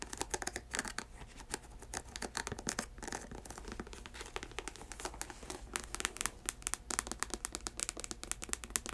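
Long nails scratch the leather and synthetic upper and the thick ridged sole of an empty white chunky sneaker. Dense, dry scratching and crackly, crinkling clicks are heard, with sharp bright transients throughout and a quiet steady low hum beneath.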